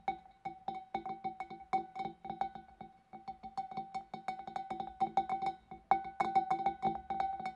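Fingernails tap inside the neck of a large, clear, empty glass fish bowl, with the hand partly behind the glass. The quick, irregular run of dozens of light clinks each rings out a clear glassy tone around 780 Hz with high overtones. Each clink dies away almost at once.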